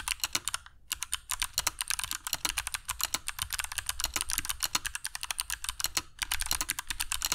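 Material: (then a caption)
Plastic. Fingertips of both hands type continuously on a compact black mechanical keyboard with dark PBT plastic keycaps and Kailh Box Jade switches, resting on a cork desk mat. Rapid, crisp, bright clicks follow one another closely, each dying away almost at once, with a low background hum underneath. The typing pauses briefly near the start and again toward the end.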